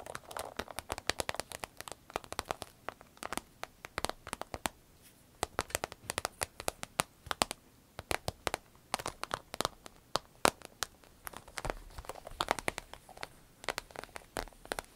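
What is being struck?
Glossy vinyl zippered pouch.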